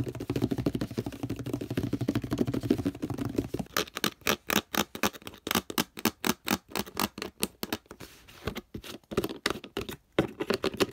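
Fingertips tap the label and body of a hollow orange plastic detergent bottle and touch its purple plastic cap. The first few seconds are a dense, scratchy patter with a low, warm body. It then gives way to quick, separate, bright taps that cut off almost instantly, with a short flurry of softer taps near the end.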